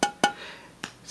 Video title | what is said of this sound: How To: Apply a Clear Bra Protector to Glass Headlight Lens for an E38 BMW 7 series | still sounds like glass looks like glass